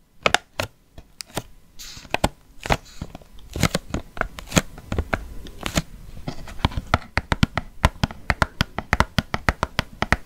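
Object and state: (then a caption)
Cardboard gift box tapped with fingernails. A small printed cardboard nail polish gift box with nail polish bottles inside is handled, tapped and scratched with long painted nails. Sharp, dry taps and clicks come in quick, irregular bursts over soft scratching and rustling.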